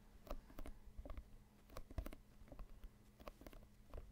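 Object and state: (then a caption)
Synthetic leather soccer ball. Fingers and nails scratch and tap the synthetic leather surface of a full-size, inflated, hollow soccer ball held close to the microphone. Quiet, irregular patter of soft taps and scrapes, each dying away almost at once, with a dull low hollow thump under brief bright ticks.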